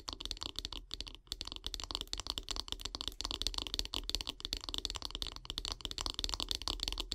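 Long fingernails tap and scratch along the solid light-wood handle of a bath brush, making a rapid, dense stream of short, dry clicks and scrapes. The sound is quiet, bright and crisp, with each tap dying away almost instantly.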